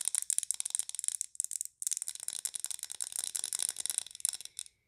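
Long nails tap quickly on a large glass pine-scented candle jar with a solid wax fill and on its lid. The result is a dense stream of quiet, bright, clicky taps with almost no ring and no low end, broken by a brief pause near the middle and another just before the end.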